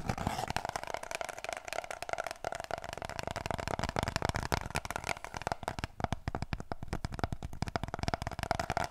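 Long nails rapidly tap and scratch an empty, hollow cardboard kitchen roll tube, producing a dense run of dry, quick clicks and scratchy rustling. A steady hollow resonance rings inside the tube throughout. Toward the end the tube is brought closer, and the taps grow slightly louder and more pronounced.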